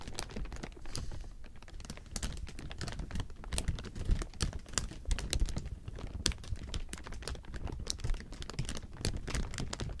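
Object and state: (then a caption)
Clear plastic sheeting. A large heap of thin, clear plastic sheeting is rubbed and scratched with fingertips, making a continuous crinkling. Dense, rapid, sharp crackles with bright, snappy tops rise and fall over a low, rumbling rustle throughout.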